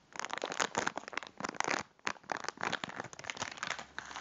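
A full, cylindrical packet of biscuits in a crinkly plastic wrapper is held in both hands and squeezed and crinkled with the fingertips. Dense bursts of bright, crackling plastic crinkle come in uneven waves, with a brief lull near the middle. There is almost no low end.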